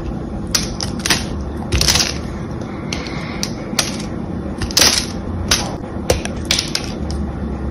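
A hand-sized, solid cream bar of soap with a mostly smooth face is scraped and carved with a small metal blade held in the other hand. Crisp, crunchy scraping strokes come in quick irregular bursts, each with bright, hissy edges over a low, steady rumble.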